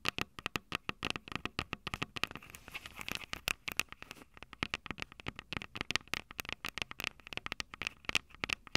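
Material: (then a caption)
Metal. Long purple nails on both hands tap and scratch the silver metal mic capsules of a Tascam DR-05, a small plastic-bodied handheld audio recorder. Dozens of quick, dry clicks and ticks land in rapid, uneven bursts, with a bright ring centered near 2.6 kHz and a soft scratchy hiss between taps. Each hit dies almost instantly, with very little low end.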